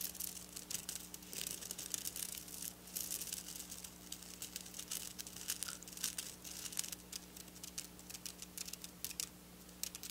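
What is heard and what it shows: Long black nails scratch and tap silver sequin fabric, making bright, dense crinkling and rustling with quick clicky taps. The sequin noise sits mostly high in pitch, over a faint, steady low hum.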